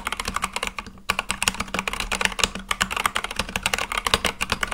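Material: Plastic.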